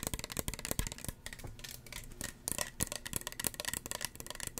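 Fingernails tap rapidly on the body and white cap of a small, hollow red plastic spray bottle. The taps are quick, bright clicks that die out at once with no ring. A softer, quieter stretch in the middle separates two busier bursts of tapping.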